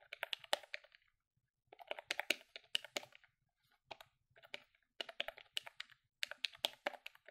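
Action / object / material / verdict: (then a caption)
tap / plastic desktop calculator / plastic / none. A grey plastic desktop calculator with a hollow body is held in one hand while long fingernails quickly press its keys. Fast bursts of sharp, bright plastic clicks and taps come in clusters separated by short pauses, each click dying away almost instantly.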